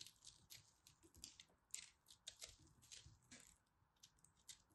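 A utility knife blade scrapes and cuts repeatedly into a hand-sized solid ball of pressed pastel soap crumbs, held in hands with red nails. Quiet, bright, crumbly crunching strokes come roughly twice a second at an uneven pace, each one dry and short with almost no ring.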